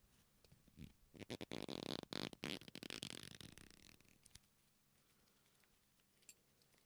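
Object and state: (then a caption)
Leather belt creaking. A black leather belt with punched holes, a flat solid strap, is bent and rubbed with both hands, giving a burst of dense, dry creaking that crackles brightly between about 1 and 4 seconds. The creaks then thin out into a quiet, near-silent tail broken by one faint click.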